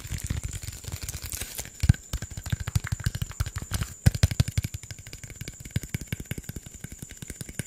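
Fingertips and nails tap and scratch a hollow green PET Sprite bottle of about 500 ml in a rapid run of some 45 quick hits. Each tap gives a short, dull, hollow thump low in pitch that dies away almost instantly, mixed with light scratchy rustling. A faint, steady high whine sits underneath throughout.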